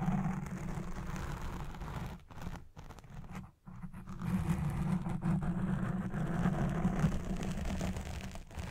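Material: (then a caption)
Foam. Fingertips with long red nails scratch fast at a black foam windscreen on a Blue Yeti Pro microphone. The result is a dense, muffled, rumbling scratch concentrated in the low end, with brief dips in level around the third and fourth seconds before the steady scratching resumes.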